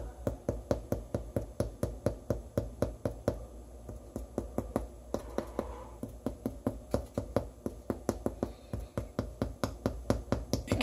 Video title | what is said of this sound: 178. Hollow sound cooked bread makes. #sourdough #oven #spring #ear | it's like a thudsy tap, and that's basically what I'm trying to go for